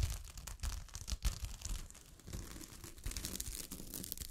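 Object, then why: Fabric covered with small metal-look sequins. Long fingernails scratch and brush against the grain of a sheet of fabric covered with small gold sequins. The result is a dense, crinkly rustle of rapid scratches, with bright sequin clicks over a soft low rumble and louder bursts as the strokes change pace.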